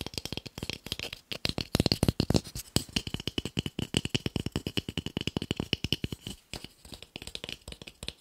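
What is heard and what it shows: A small, solid, pale wooden cube held in the hand is tapped quickly on its flat faces with fingertips and nails. About 60 short, dry knocks come in a rapid, uneven stream, each with a low body around 129 Hz and a bright clicky edge that dies away almost at once.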